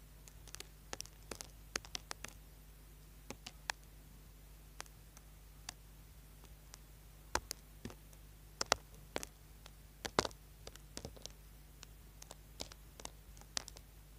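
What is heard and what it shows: A small, solid orange bar of soap held in the hand is scraped with a small tool, with shavings falling onto the board below. About three dozen short, crisp, bright scratches and clicks come at uneven intervals, each dying away almost instantly. They sound over a faint, steady low hum.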